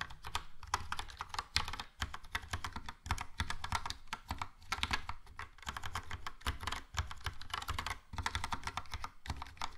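Fingertips type steadily on a Logitech POP Keys plastic mechanical keyboard with a yellow plastic case and round plastic keycaps. Fast, dense keystrokes make bright, clacky clicks over a deep, thocky low body, with brief pauses between bursts and each click dying away almost at once.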